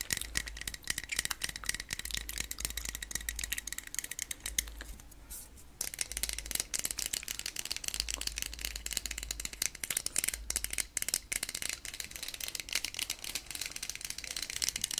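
A medium aluminium aerosol can of SPF 50 sunscreen with a plastic cap, holding liquid and a mixing ball, is held in the hands and shaken close to the mic. It produces a fast, dense, bright rattle that continues throughout, with a brief quieter pause near the middle and possible mouth sounds layered in.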